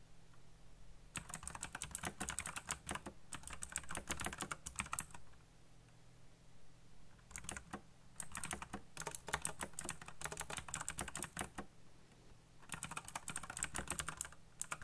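Fingertips type fast on a black backlit mechanical computer keyboard with plastic keycaps, producing bright, rapid clacking in three bursts separated by short pauses. A steady low hum runs underneath throughout, and each keystroke is short and dry with almost no ring.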